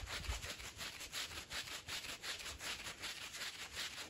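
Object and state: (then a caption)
Woven fabric rug being scrubbed. A green plastic push broom scrubs a small fringed woven fabric rug covered in powder and foam. It makes a steady run of bright, scratchy, rasping strokes, roughly two to three per second, with a faint low rumble underneath.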